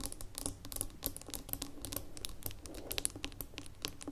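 Long nails tap and scratch the gold metal lid and its ridged rim on a small labeled amber glass jar standing on a table. A rapid, quiet run of bright, crisp clicks and scratchy ticks, each dying away almost instantly, sits over a low, steady background hum.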